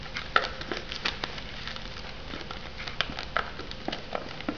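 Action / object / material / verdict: tap / shrink-wrapped foam noodle cup / foam, plastic wrap / none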